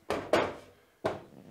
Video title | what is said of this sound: Hoe bevalt de HBM 16 Delig Modulair Werkplaats Systeem na een half jaar gebruik. | Als je ermee schudt. Ze zijn stevig, hè. Er zitten dus die profielen in.